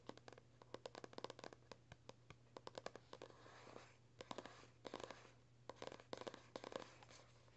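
Bursts of rapid, crisp fingernail taps mixed with short scratchy strokes, dry and papery with no ring at all. A closed paperback's matte card cover, firm over the pages beneath. A faint steady hum sits underneath in a small room.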